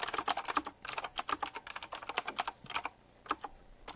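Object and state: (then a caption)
Typewriter-style mechanical keyboard being typed on. Fingertips type quickly on a full-size typewriter-style mechanical keyboard with round black plastic keycaps, chrome-look rims and a metallic frame. The result is a dense run of sharp, bright clicks with very short decay and almost no low end, broken by a brief pause near the three-second mark.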